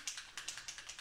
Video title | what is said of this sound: How to Make this Alcohol Ink Tin Leaf Decor with Craft Warehouse | you'll hear that clicking in the bottle